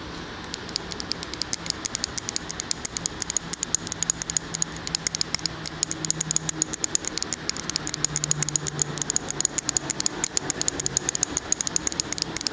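A large glass jar candle with a paper label and a solid wax fill is held in one hand while the fingernails of the other hand tap and scratch rapidly on the glass. The result is a dense stream of sharp, bright clicks with a thin high ring over a faint low hum.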